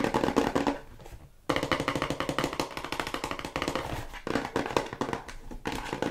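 Long white nails tap rapidly on the faces and edges of a small, hollow, white hexagonal paperboard cosmetic box held close. The result is a fast stream of short, dry, hollow clicks with a mid-range ring. The taps fade to a brief near-pause around the first second and a half, then resume at full pace.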